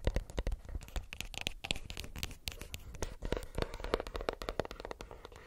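Fingernails tap rapidly on a plastic earbuds case, making a dense stream of dry, clicky taps. Each tap is short with almost no ring, carrying a low body thump and bright edges.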